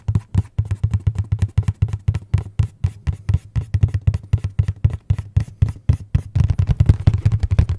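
Fingertips tap and knock on the face of a hollow, dark printed cardboard box, making about 45 quick, dull, low thumps at an uneven pace. Each knock is boomy and deep, with almost no bright content, and dies away almost instantly. The tapping grows denser and slightly louder over the last couple of seconds.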